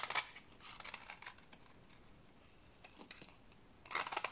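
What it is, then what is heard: Dry soap bar scraped into shavings. A rectangular solid bar of dry white soap, held in the hands, is scraped with a utility blade into fine shavings for washing. Quiet, dry, bright scraping rasps come in short bursts with brief pauses between them. A denser run of scrapes closes the clip.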